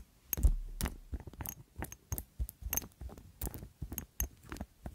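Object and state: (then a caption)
Glass perfume bottle with metal decoration. A small ornate glass perfume bottle, solid-walled, partly filled and wrapped in gold metal ornamentation with colored stones, is held in one hand and tapped close to the microphone with long glittery acrylic nails. A steady string of soft, quick taps sounds mostly dull and low, with faint bright clicks on top, and each tap dies away almost at once.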